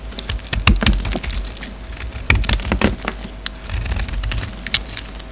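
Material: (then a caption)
Soap. A solid black and white bar of soap, held in the fingers, is carved with a utility knife blade as flakes fall away. Irregular, crisp cuts and scrapes come through as sharp, bright clicks over a soft low thud, with a quiet hiss between strokes.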